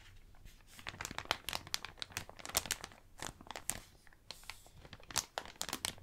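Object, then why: Thin plastic bag. Hands crumple and crinkle an empty, thin blue plastic bag. The result is a steady run of sharp, bright crackles and rustles with very little low end, coming in quick, uneven bursts at a fairly quiet level.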